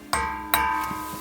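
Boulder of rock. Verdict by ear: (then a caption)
Ringing. A boulder of ringing rock with a crystalline structure is struck twice, each strike giving a bright, bell-like ring centered near 1 kHz. The overlapping tones sustain and fade slowly after the second hit.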